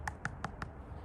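Bare knuckles knock four times on a traditional wet-pour concrete slab cured two to three days. Each knock is short and sharp with almost no ring, and the slab sounds solid.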